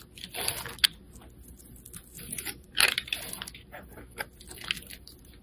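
A metal blade scrapes and shaves the face of a solid white bar of soap with blue stripes, held in the hand, releasing flakes. The sound is a quiet series of dry, crisp scrapes and sharp crunchy ticks, bright and airy with almost no low end, each stroke stopping short with no ring.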